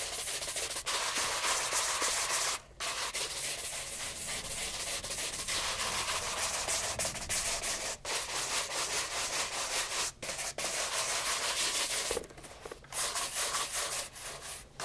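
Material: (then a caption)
Leather. A light brown bespoke leather loafer with a shoe tree in it is held in hand and brushed with a wooden-backed horsehair shoe brush. Quick back-and-forth strokes make a steady, bright, airy swishing. Brief pauses break up the brushing.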